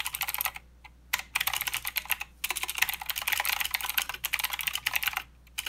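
Fingertips of both hands type continuously on a plastic mechanical keyboard with clicky blue switches and plastic keycaps. Rapid, bright, sharp clicks come in bursts, separated by a few brief pauses. Each click is dry and short, with almost no low end.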